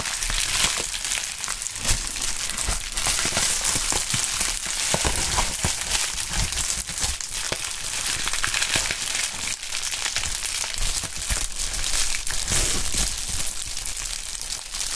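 A medium sheet of pink plastic bubble wrap with air-filled bubbles is held up, then crumpled and stretched by gloved hands. It makes a steady, dense crinkling and crackling with bright, hissy texture and scattered sharper snaps throughout, at an even level with no pauses.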